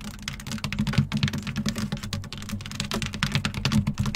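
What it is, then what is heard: Plastic-rubber running board step. Long acrylic nails on both hands tap and scratch across the black, hexagon-textured plastic/rubber running board step of a Jeep, which is hollow-backed. The result is a rapid, continuous patter of short, crisp clicks over a hollow low thump, with faint scratchy rasps between the taps.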